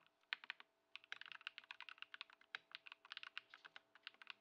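Fingertips of both hands type continuously on a compact white Ducky One 2 SF mechanical keyboard (Lumia Matcha) with plastic keycaps, resting on a wooden desk after a Poron foam mod and a switch swap. About 25 quick, dry, bright keystrokes clack in an irregular stream with a brief pause near the start, each dying away almost instantly with no low thump.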